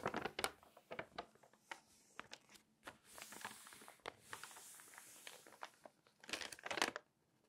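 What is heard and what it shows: Long painted nails and fingertips turn, scratch and crinkle the pages of an open, thin glossy paper magazine lying flat. Quiet, bright crackles and ticks come in quick bursts, with smoother hissing page slides in the middle. A dense crinkling flurry near the end gives way to silence.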